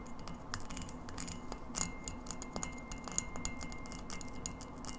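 Long acrylic nails tap a hand-held, hollow, empty frosted white glass light bulb with a metal screw base. The result is a quick, irregular run of bright, glassy clicks with a faint high ring that dies almost instantly, over a steady low background hum.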